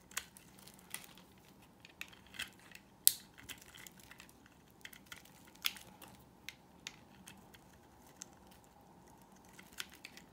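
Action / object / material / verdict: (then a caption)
scrape / bar of soap cut with a knife blade / soap / none. A utility knife blade cuts a solid, dry white oval bar of soap into thin slices and shavings. Quiet, irregular, bright crisp cracks and scraping clicks come over a faint hiss, with the sharpest snap about three seconds in. Each crack is dry and stops at once, with no ring.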